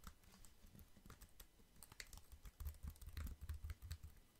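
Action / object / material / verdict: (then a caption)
tap / plastic computer keyboard / plastic / none. Fingertips tap and type on the keys of a compact black plastic computer keyboard with a hollow housing, held up close to the mic. A quick, irregular run of soft, hollow low thumps comes with faint bright clicks, each dying away almost instantly, and the taps grow heavier in the second half.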